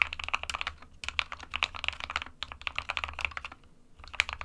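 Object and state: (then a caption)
Plastic mechanical keyboard. An SK61 small 60% mechanical keyboard with a plastic case and plastic keycaps, hollow with switches inside, is typed on continuously with the fingertips of both hands. Rapid, bright, sharp clacks with almost no ring tumble over each other. A steady low hum sits underneath, and the typing briefly thins out just before the first second and again around 3.5 to 4 seconds.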